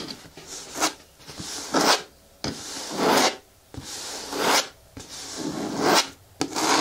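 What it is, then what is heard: Hollow plastic bin, scratched. Long nails scratch and rub slowly along the side wall of a hollow, hard green plastic bin with a lid and handle. Each stroke is a dry, bright rasp that swells and fades, separated by brief quiet gaps, with occasional sharp clicks where a stroke starts.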